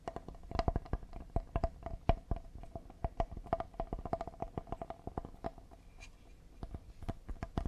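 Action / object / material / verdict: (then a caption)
tap / cedar wood serving board / cedar wood / none. Fingertips tap quickly and lightly on the face and side edge of a solid cedar serving board. Each tap gives a short, dry wooden knock with a faint hollow tone, and the taps run in a steady rapid stream with uneven loudness.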